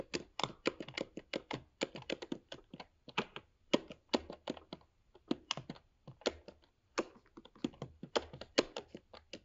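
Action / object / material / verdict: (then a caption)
tap / laptop keyboard with plastic keys in a metal body / plastic / none. Fingertips of both hands rapidly type on a MacBook Pro 13-inch keyboard, its black plastic low-profile keycaps set in a grey aluminium body. Quick, dry, clicky taps come in bursts with short pauses between them, each tap bright and with almost no ring.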